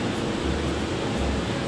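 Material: Nothing is struck.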